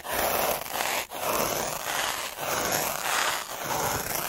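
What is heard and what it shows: A black derma roller with metal needles is rolled slowly over a flat sheet of textured white paper, with a hand resting on the paper. The needles scratch the paper in a steady, dry, bright rasp. The long passes are separated by brief pauses.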